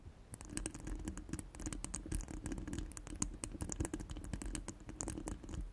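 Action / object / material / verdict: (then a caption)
scrape / steel wire-mesh microphone grille / steel mesh / none. Long stiletto nails scratch and tap all over a hollow steel wire-mesh microphone head resting on a cork mat. A dense, continuous run of quick bright clicks and scraping rides over a steady low, hollow resonance near 300 Hz, with short taps that die away almost instantly.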